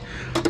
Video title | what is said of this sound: Twilight Scrap Marauding | sounds dull, like it's actual brass. Steel would be a little more ringy.